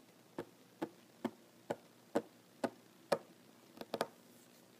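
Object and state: Solid wooden tabletop.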